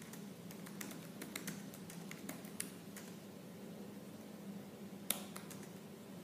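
Fingertips with purple-painted nails type fast and hard on the black plastic keys of a silver laptop keyboard. Quick, sharp, bright clicks sound over a steady low hum, with one louder clack near the end.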